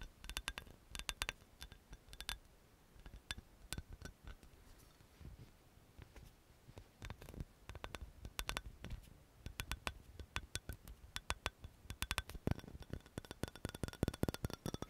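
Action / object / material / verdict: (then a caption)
tap / small amber glass bottle with paper label / glass / none. Long nails tap and scratch the yellow paper label and glass sides of a small amber glass oil bottle with a black cap, held in the hand. Quick, bright clicks come in fast bursts over a soft scratching hiss, with sharp taps ringing only briefly.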